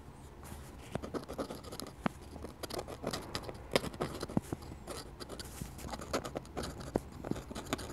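A metal dip pen nib scratches small curly foliage strokes onto a solid, flat sheet of drawing paper, while a glass ink bottle nearby stays untouched. Quiet, dry scratching comes in quick short bursts, with sharp little ticks and scrapes over a faint low background rumble.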